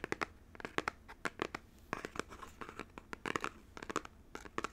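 Fingernails tap and scratch the front face of a small, hollow, printed cardboard Nintendo Joy-Con box, likely shrink-wrapped and held up in both hands. Quick, dry clicks and crinkly scratches sound in an irregular cluster of many short, sharp hits with almost no ring, bright and papery with little low end.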